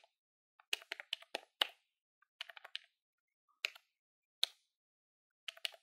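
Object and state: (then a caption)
Plastic desktop calculator keys. Fingertips with nails rapidly press the keys of a hollow grey plastic desktop calculator held in the hand. Quick, bright, dry clicks come in short bursts separated by brief silent pauses, each tap snapping off almost instantly with a hard plastic tick centered around 3 kHz.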